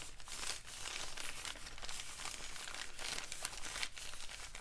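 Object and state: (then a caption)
Crinkled paper bag. A folded, empty brown kraft paper bag is handled, crinkled and rubbed with fingers. It makes a steady, dense crinkling and rustling with bright, papery texture and a few sharper crackles, held at a fairly even, quiet level throughout.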